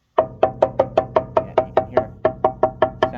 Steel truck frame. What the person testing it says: Sounds pretty good there. Yeah, you can hear it. Sounds solid there.